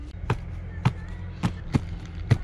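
Someone knocks five times on the trunk of an ant-damaged tree being dismantled, its wood rotten. Each short, dull knock has a low, hollow thud with a brief bright click, over a steady low hum. The trunk sounds hollow.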